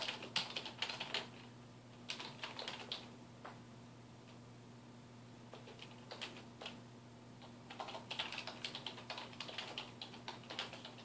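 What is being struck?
Plastic computer keyboard.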